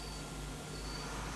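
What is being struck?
Nothing is struck.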